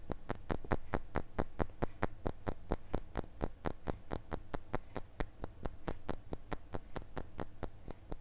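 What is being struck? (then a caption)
Glass crystal block. A small, solid, clear laser-engraved glass crystal block is tilted in the hand while fingertips and nails tap and scratch it. About 37 short, sharp taps land in a fast, slightly uneven rhythm, each a bright click that dies away almost instantly. A steady low hum runs underneath throughout.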